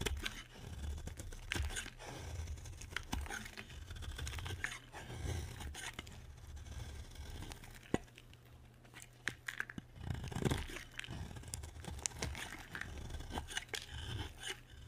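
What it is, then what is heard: Dry bar soap being shaved. A utility knife shaves thin slices off a solid, dry white bar of soap held in the hand. Repeated crisp, crunchy scraping strokes with bright crackle come in uneven bursts over a steady low hum, with brief sharp clicks between cuts.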